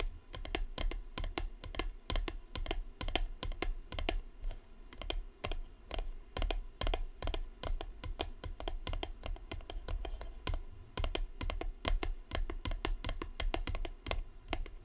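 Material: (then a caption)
Cardboard. Long blue nails tap quickly and continuously on the side of a grey-and-white Cartier cardboard perfume box held up in the hand. The result is a dense, steady stream of short, dry clicks, each with a bright edge over a soft, low, hollow thump and almost no ring.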